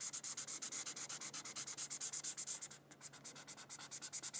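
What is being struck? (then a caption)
Felt-tip marker on thin paper. A red felt-tip marker is rubbed quickly back and forth across a thin white paper coloring sheet. It makes a rapid series of about 39 bright, scratchy strokes with a dry, high hiss and almost no low end. The strokes pause briefly near the 3-second mark, then the quick rubbing resumes.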